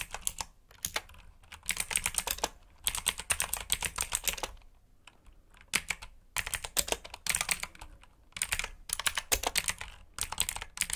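Fingertips type on a black backlit mechanical keyboard with plastic keycaps, making fast, bright, crisp clicks in bursts separated by short pauses. Each keystroke is sharp and dies away almost instantly, with little low-end weight.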